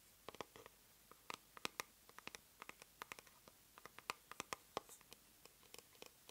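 A small white plastic cosmetic jar is held upside down while long nails tap and scratch its base. About thirty quiet, sharp, dry clicks sound in an irregular run, each bright and gone almost at once, with soft scratching in between.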